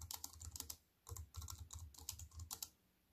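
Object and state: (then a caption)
Compact plastic-key keyboard being typed on. Fast fingertip typing, with white-painted nails, on a slim wireless compact keyboard with black plastic keys in a grey metal-look frame lying on a wooden table. Rapid clicky keystrokes combine bright clacks with a low thud from each press. The typing comes in quick bursts, pausing near one second, and fades out at the end.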